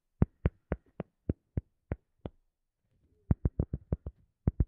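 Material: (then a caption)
Cork. A round cork coaster held in both hands is tapped and scratched with long nails, giving sixteen short, dull, low knocks that stop dead with no ring. The taps come in an evenly spaced run, then a brief pause, then a quicker, busier run with faint scratching between them.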